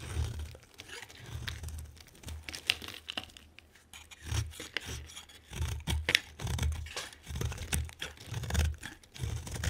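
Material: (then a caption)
Soap. A utility knife blade shaves strips from a solid, hand-sized orange oval bar of soap with a green rim. Each stroke gives a crisp scraping, tearing sound with bright crinkly edges over soft, low thumps. The strokes come in repeated bursts with short pauses between them.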